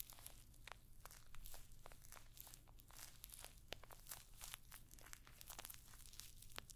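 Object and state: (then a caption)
Metal-studded clutch purse. Long nails scratch across rows of small, hollow rose-gold metallic pyramid studs on a rectangular clutch bag held close to the microphone. Rapid, bright, crinkly scratches and clicks flicker quickly over a steady low hum, with no ringing after each touch.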